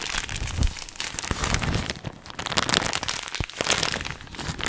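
An apparently empty, hollow and flexible blue and white printed plastic snack bag is held in both hands and crumpled and squeezed with the fingertips. It makes a continuous, bright crinkling and crackling with irregular louder crunches and some low rustle underneath.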